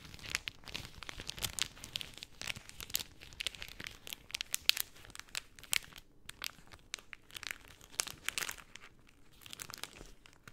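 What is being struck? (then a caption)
Rolled cellophane sheet. A sheet of pink cellophane rolled into a tube is worked by both hands, crinkling under fingertips and nails. The sound is a quiet, steady stream of dry, bright crackles and sharp snaps with almost no low end, each click dying away at once.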